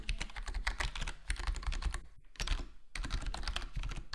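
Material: Plastic.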